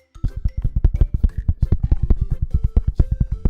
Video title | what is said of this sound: 【Debut Watchalong: VAllure Gen 2】 New Wave of Girls Coming!! | It's like It's like a like a heavy sound.